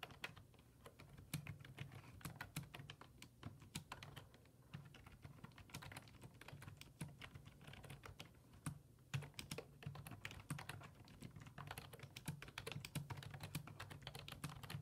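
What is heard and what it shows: Fingertips type rapid key presses on a black plastic full-size desktop keyboard with low-profile keys resting on a wooden desk. Quick, bright plastic clicks tap out in a steady stream over a low, constant hum.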